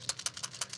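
A metal PCV valve from a Nissan 300ZX, with a tapered plug and a spring inside, is shaken, giving seven quick, bright, high-pitched rattling clicks with almost no low end. The rattle is the plug moving freely inside, showing the valve works and can open and close as pressure changes.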